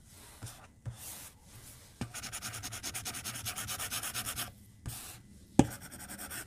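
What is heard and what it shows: A plastic stylus tip draws on the flat glass screen of an iPad tablet resting on a desk, making soft swishing strokes and light taps. A steady run of rapid, rhythmic scratching strokes on the glass follows, then a sharper tap and a few more quiet strokes.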